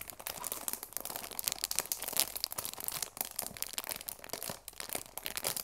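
A cellophane-wrapped cardboard tea box has its plastic wrap crinkled and scratched with fingertips and long nails. The result is a dense run of bright, crackling crinkles and quick scratchy ticks, mostly high in pitch with almost no low end.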